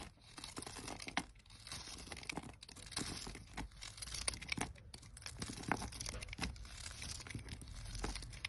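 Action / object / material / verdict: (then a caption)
scrape / olive oil soap bar / soap / none. A utility knife blade cuts and scrapes slices off a solid pale green stamped olive oil soap bar held in a hand with red nails. The result is a quiet, steady run of crisp, crunchy scraping and shaving strokes with bright, papery detail and no ringing between cuts.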